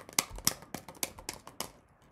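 A paper-covered cardboard tube holding a few rocks is shaken with a hand covering its top, giving six sharp, bright, dry clacks of the rocks hitting inside, with softer rattles between them and no ringing. The rattle is judged not loud enough, so more rocks are added.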